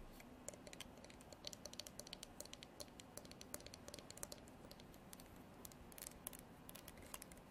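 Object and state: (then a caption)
Horn comb tapped and strummed with nails. Long artificial nails strum the fine teeth of a translucent amber comb, probably horn, and tap on its body. The result is a quiet, irregular stream of quick, dry, bright clicks and ticks that stop instantly, over a soft hiss.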